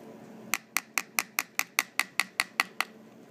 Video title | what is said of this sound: Skull Anatomy (4 of 5): Structures Passing Through The Skull (Part 1) -- Head and Neck Anatomy 101 | if you tap here this is the squamous part is quite thin here